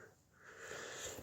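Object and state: Nothing is struck.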